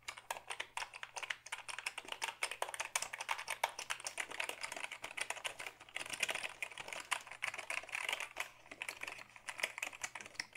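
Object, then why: Plastic computer keyboard. A black Dell hollow plastic computer keyboard, tilted toward the camera, is typed on with the fingertips in a fast, steady stream of light, bright clicks and clacks. Each keystroke is short and dry with almost no low end, over a faint steady low hum.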